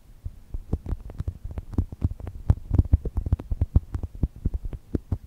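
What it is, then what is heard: Foam squishy toy. Long nails and fingertips squeeze and scratch a small, soft, solid brown polyurethane foam chocolate toast squishy resting between two microphones. The result is a rapid, irregular run of dull, muffled low thumps with faint brushing scratches on top. Each one stops almost instantly, with no ring.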